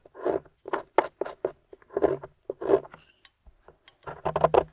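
A metal pick carves grooves into the top of a solid gold-painted plaster excavation bar held in the hand, with a pile of crumbs beside it. A series of short, gritty scrapes and crumbly scratches come in uneven bursts, some quick and clustered. They have a mid-range body and bright, crisp edges.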